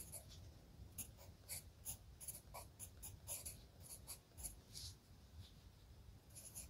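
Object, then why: Graphite pencil on lined paper notebook. A hand writes with a red graphite pencil on a page of an open spiral-bound lined paper notebook. The pencil tip scratches continuously across the paper in short, bright strokes over a low, soft background hiss. Many of the strokes come as separate scratches.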